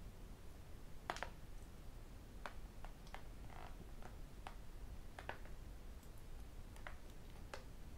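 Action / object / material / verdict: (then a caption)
tap / tablet computer with glass screen and aluminium casing / glass, aluminium / none. Fingertips, nails and metal rings tap the glass screen and aluminum edges of a thin tablet computer. Quiet, sharp clicks and ticks come at irregular intervals, each dying away almost at once. A steady low rumble sits beneath them throughout.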